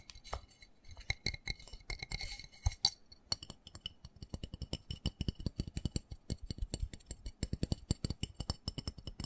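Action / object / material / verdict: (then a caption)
tap / small plastic flower pot with soil / plastic / none. Fingertips and nails tap quickly on the side and bottom of a small black textured plastic flower pot holding soil and a cactus. The result is a fast stream of short, dry taps, each a dull low thump with a bright, clicky edge that dies away almost at once. The tapping starts out lighter and uneven, with a faint high ringing tone, then settles into a steadier, stronger rhythm.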